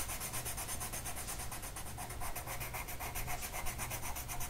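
A blue colored pencil tip is rubbed back and forth across a flat printed mandala sheet of paper lying on a table, held in place by one hand. It makes a steady, fast, scratchy rubbing with bright papery hiss in quick strokes over a low, constant hum.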